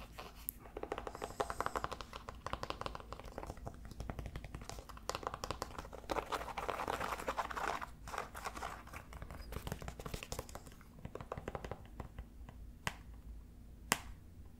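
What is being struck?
Leather and canvas sneaker.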